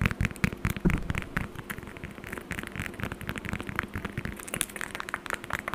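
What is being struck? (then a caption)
Whole orange peel. A whole orange is held close to the mic while long acrylic nails scratch and tap its peel. The result is a fast, busy stream of dry clicks and scratchy taps over a low, muffled thump. Each tap dies away almost instantly, with brief bright flicks on top.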